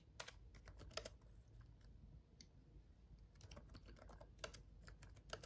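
Fingertips of both hands tap the red backlit plastic keys of a black laptop keyboard while typing. The result is an irregular run of quick, sharp, bright clicks that die away almost instantly over a low, steady background rumble.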